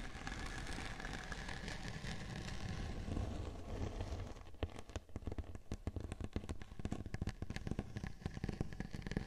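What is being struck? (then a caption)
Glitter-coated cardboard board. Long painted nails scratch across a large, thin, rigid, flat round silver glitter-coated cardboard cake board resting on top of a 3Dio binaural microphone, making a dense, steady rasping rustle with a strong low rumble. After about four and a half seconds the scratching gives way to rapid, sharp taps and clicks across the textured surface that continue to the end.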